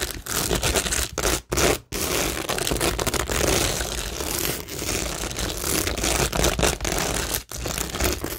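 Long acrylic nails scratch and tap across a flat, solid framed cork board covered in stick-on acrylic rhinestones, faux pearls and gem flowers. The result is a dense, continuous crackling and scraping texture, bright and gritty, broken by a few brief pauses.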